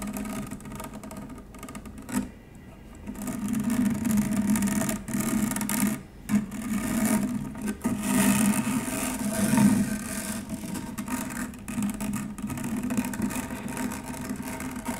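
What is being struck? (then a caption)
Stainless steel wire-mesh strainer. An upturned stainless steel wire-mesh strainer is scratched with long nails of both hands. The result is a steady, rapid raspy scratching with a humming tone around 200 Hz and bright, fizzy high textures. The strokes rise and fall in loudness, with brief pauses near 2 and 6 seconds.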